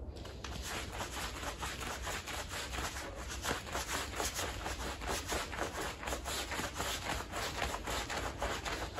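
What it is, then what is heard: Wet pile rug being scrubbed. A green plastic bristle broom rubs and scrubs across the surface of a small, wet, soapy Persian-style woven pile rug lying flat. The result is a steady run of rhythmic, wet, swishing bristle strokes with bright, hissy scraping over a low rumble.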